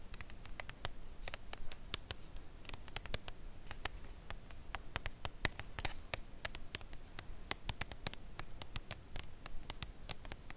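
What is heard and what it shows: Long acrylic nails tap slowly on the front face of a thin cardboard box holding a full Lindt Creation Crème Brûlée chocolate bar, lying flat on a velvet cloth. Each tap is a short, dry, bright click that dies away almost instantly, over a low, soft background rumble.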